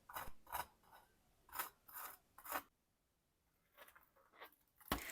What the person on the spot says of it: Guardate com'è dorata la crosticina. Ora ascoltate che croccantezza.